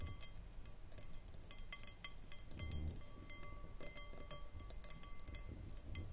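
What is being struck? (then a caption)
Glass bowl. Long manicured nails tap quickly around the sides of a clear, round, empty and hollow glass bowl on a short foot, resting on a wooden table. The result is a steady stream of light, bright clicks and clinks, with faint, thin glassy tones lingering beneath them over a soft low background hum.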